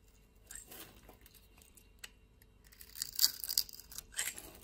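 A blade scrapes scored cubes off the surface of a solid brown soap bar held in the hand. The sound is a quiet, bright, crumbly scraping in irregular bursts, with the crisp rasps growing louder toward the end.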